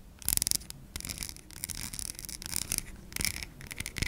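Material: Soap.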